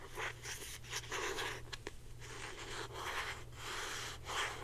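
Long painted nails scratch a blue plastic Secret deodorant stick, a hand-sized hollow stick with a cap held in both hands. The result is a series of dry, bright scratching strokes with a hissy rasp, plus a couple of sharper clicks. A steady low hum runs underneath throughout.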